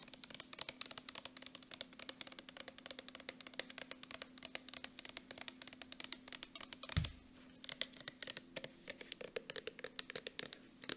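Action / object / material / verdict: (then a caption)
tap / soft plastic lotion tube / plastic / none. Long nails tap fast along a Jergens soft plastic lotion tube, making a dense stream of crisp, bright clicks over a faint steady low hum. Near the seven-second mark a single louder, duller thump stands out before the quick tapping resumes.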